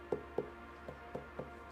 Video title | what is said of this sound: Making Pottery! Live 🔴 Swan City Ceramics Vertical Shorts Livestream | it's what the hollow sounds like